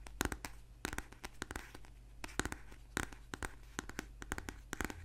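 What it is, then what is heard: Paperback book. A thick paperback book held upright and solid is tapped and scratched with fingernails along its spine, back cover and page edges. A quick, uneven run of sharp, bright clicks mixes with dry, papery scratching over a steady low hum, each tap dying away almost instantly.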